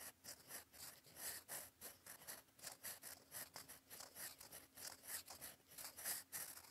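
A gold metal fountain pen nib, held in fingers, writes cursive on a flat sheet of cream lined paper resting on a desk. About nineteen quick, bright, scratchy strokes come in a steady rhythm, with a faint low hum underneath.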